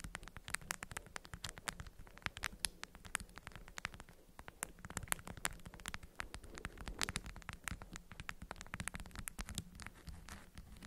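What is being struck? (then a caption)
Beeswax-coated cotton food wrap bundle. Long acrylic nails tap and scratch the waxy fabric surface of a small, fist-sized bundle of orange-print beeswax-coated cotton food wrap folded around a hidden object and resting on green felt. Rapid, sharp, dry clicks and ticks come in dense, uneven bursts, each dying away almost instantly, with brief scratchy rustles between them. A faint, steady low hum runs underneath the whole time.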